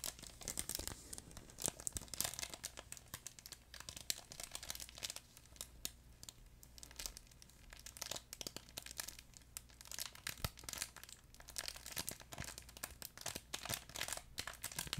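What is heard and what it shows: A fuzzy yellow plush duck pet toy with a crinkle insert is squeezed and crumpled with fingers beside the mic. It gives a steady stream of bright, crackling crinkles and sharp rustling snaps over a faint low hum, with no ringing between sounds.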